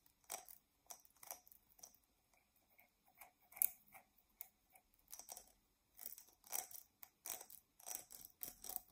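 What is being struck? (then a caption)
Glass tumbler. Long fingernails scratch the outer surface of a hollow, empty dark glass drinking tumbler as it is held upright and tilted. The result is a quiet series of short, dry, bright scraping strokes with almost no low end and no ringing tone.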